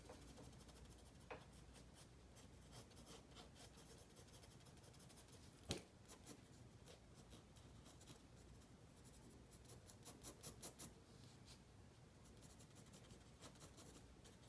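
A black mechanical pencil scratches repeated shading strokes across a spiral-bound paper sketchbook page resting on a wooden table. The quiet, steady scratching sits over a low background rumble, with bright papery strokes, one sharper tick a little before the 6-second mark, and a quick flurry of strokes around 10 to 11 seconds.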